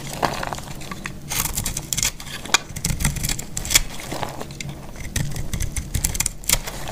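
A solid, dry yellow bar of soap is held in the hand and cut with a metal box-cutter blade. The cutting makes a steady, dry crackling and scraping texture, with a low rumble underneath. Sharp, bright snapping clicks punctuate it throughout as the blade breaks through the brittle soap.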